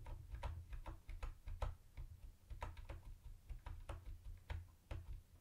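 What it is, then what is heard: Plastic typewriter-style keyboard being typed on. Fingertips type on a mint-green plastic typewriter-style keyboard with round white plastic keycaps and a hollow body. The result is a quick, uneven run of short, dry clicks with bright tops, each backed by a low hollow thump that dies away almost instantly.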